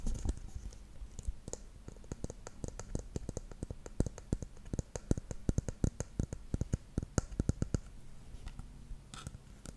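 Long nails tap and click rapidly on the silver cap and the body of a dark plastic shampoo bottle. The sound is a dense run of short, dry clicks with bright, high ticks over a low, soft rumble, and each tap dies away almost instantly.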